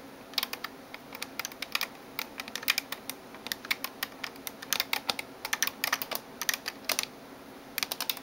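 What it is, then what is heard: Plastic computer keyboard. Long nails type on the keys of a backlit plastic gaming keyboard, producing a fast, uneven stream of short, bright clicks and clacks with almost no low end. The taps come in bursts, briefly pause near the end, then resume with a few final clicks.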